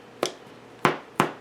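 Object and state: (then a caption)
Hollow-sounding, fully baked bread loaf. A freshly baked four-vegetable yeast bread loaf, just out of a 375-degree oven, is tapped three times. Each tap gives a short, dull, hollow knock that fades quickly. The hollow sound shows the loaf is baked through and done.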